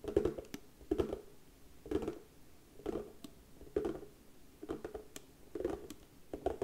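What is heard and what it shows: Long fingernails tap rapidly on the lid of a round, hollow box of darker brown wood with a white label, held in both hands. Clusters of quick, dry clicks with a hollow mid-range knock recur about once a second, each dying away almost instantly, with quiet pauses between.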